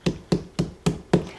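Five open-hand slaps on a watermelon to judge its ripeness by sound and feel. Each slap gives a dull, low thump around 176 Hz that dies away almost at once.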